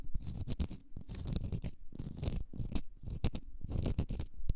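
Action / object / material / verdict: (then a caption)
scrape / small round cork stopper / cork / none. Long red nails scratch a small, solid, round cork stopper, making a quick run of dry, rasping scratches with soft low thumps underneath. The strokes come in short, overlapping bursts with bright hiss and stop dead with no ring.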